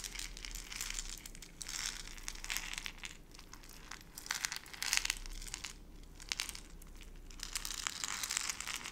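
A small clear plastic jar partly filled with dry brown-beige granules is held in both hands with long red nails, then gripped, squeezed and shaken. Bursts of bright, crunchy crinkling and rattling rise and fall in waves, with a faint low hum underneath.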